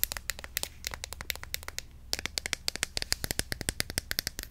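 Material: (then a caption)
Plastic. Long nails tap fast on a medium-size white plastic Cantu curl activator bottle, filled with cream and held in the hand. About 39 sharp, bright clicks come in a quick, uneven run, with a brief lull near the middle. Each tick dies almost at once over a faint low hum.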